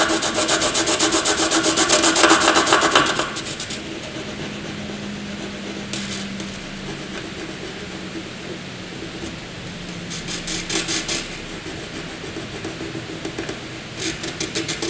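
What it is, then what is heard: Graphite pencil scratching on paper. A wooden graphite pencil hatches narrow strips on white paper, its tip rubbing and scratching in quick, regular back-and-forth strokes that make a bright, papery rasp. The first few seconds are loudest and densest, then the scratching drops to a softer, steady hiss with brief louder bursts of rapid strokes.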